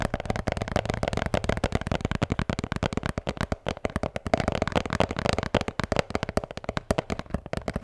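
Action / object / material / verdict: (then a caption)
tap / beer can holder / unknown / none. A blue Bintang beer can holder is tapped and scratched in a fast, steady stream of dry, dull taps with a faint scratchy texture underneath. Each tap dies out almost instantly, with a soft tone around 650 Hz and a thumpy low end.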